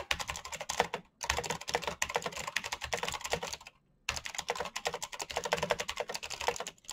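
Fingertips type fast and continuously on a black plastic mechanical keyboard with backlit keycaps and clicky switches. The result is a dense stream of sharp, bright clicks with very short decay, broken by two brief pauses near 1 and 4 seconds.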